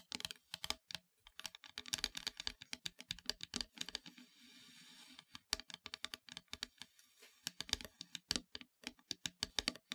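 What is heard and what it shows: Long nails tap rapidly on the surface of a solid, flat, black-painted wooden heart plaque, making dozens of short, bright, dry clicks. Around the middle, the tapping pauses for a steady, hissy scratching across the board before the quick taps resume. The clicks stop almost instantly with no ring.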